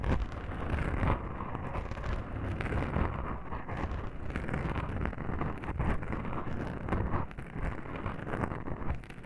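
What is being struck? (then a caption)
Foam microphone windscreen. Long pink nails on both hands scratch and rub soft black foam microphone windscreens. The result is a continuous, muffled, boomy scratching with deep rumbling thuds and almost no high end, sounding like wind buffeting a microphone.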